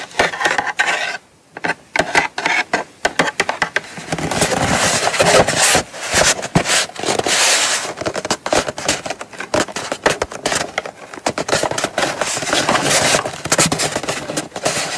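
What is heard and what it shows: Long acrylic nails tap and scratch the lid and sides of a small brown kraft cardboard gift box held in both hands. Quick, dry, bright clicks come in dense bursts, broken by stretches of papery scraping and rubbing. There is almost no low end, and each tap dies away at once.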